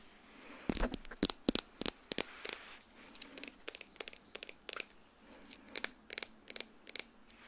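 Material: Glass.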